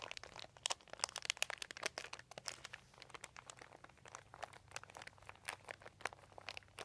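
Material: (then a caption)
Plastic. Fingertips rub and crinkle a crumpled, thin white embossed plastic sheet with a dotted texture lying on carpet. The result is a dense, irregular stream of quiet, bright crackles and crisp snaps with almost no low end. A faint steady hum sits underneath.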